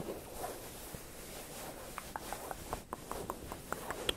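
Fingertips and nails scratch and rub a soft beige cotton-like pillowcase on a stuffed pillow held close against the mics. A quiet, steady fabric rustle gives way in the second half to a series of short, crisp scratching strokes with bright edges.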